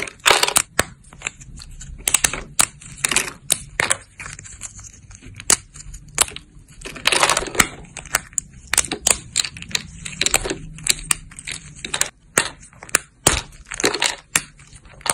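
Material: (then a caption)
Soap. Thin, solid silver-glitter soap plates (dried soap sheets) are held up close and snapped apart with fingertips and long nails. The result is a rapid series of sharp, dry, bright crunches and crackles, with very little low end and almost no ring after each break.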